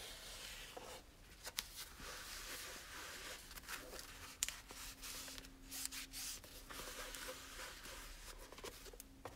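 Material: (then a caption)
Cloth. A cloth wipes and rubs the cover of a small red cloth-covered hardcover book held in the hand. Soft, bright, hissy swishing strokes run throughout, broken by a few sharp little ticks. A faint low steady tone sits underneath for part of the clip.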